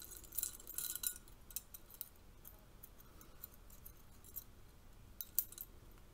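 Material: Metal.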